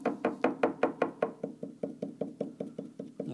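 A hand presses and rocks the large wooden keyframe of an open grand piano, with the action removed, so it knocks against the wooden keybed during a bedding check. About 18 short, dry wooden knocks come in a steady rhythm, with a hollow tone near 450 Hz. The first seven are brighter and louder, and the rest are duller.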